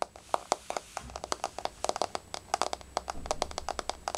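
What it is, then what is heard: Wood-look laminate floor tapped with nails. Long fingernails from both hands tap rapidly on a flat, solid wood-look laminate floor with a wood-grain surface. Over four seconds, about thirty sharp, dry clicks sound in an uneven, quick pattern. Each click has a mid-range knock around 740 Hz and a bright edge, and dies away almost instantly.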